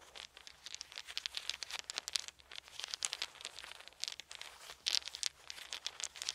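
Wooden beads are squeezed and rolled in both fists, clacking against each other in a dense, continuous stream of quick, dry, bright clicks and rattles. The clicks come in irregular bursts, with almost no low end and no ring after each tap.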